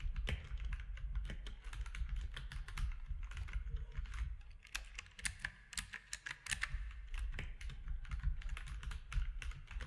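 Fingertips type continuously on a compact mechanical keyboard with gray and cream plastic keycaps and a hollow case. A rapid, steady stream of short, sharp clacks with bright edges rides over a heavy, deep low-end thump. Each keystroke dies away almost instantly.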